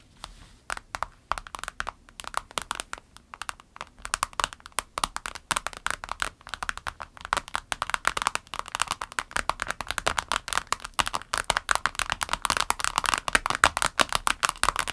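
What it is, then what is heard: Vinyl pencil case tapped with nails. Long nails on both hands rapidly tap and scratch a small clear orange vinyl pencil case, a transparent pouch lying flat with pens inside. The result is a dense patter of quick, dry, crisp clicks and scratches with almost no ring, centered in the upper midrange around 1.4 kHz with bright edges and very little low end. The tapping grows busier and louder over the second half.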